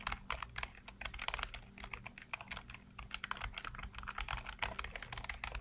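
Fingertips rapidly tap and type on a full-size black plastic computer keyboard with hollow keycaps, producing a fast, continuous stream of short, hollow clicks with bright, clacky tops. A steady low hum sits underneath the typing throughout.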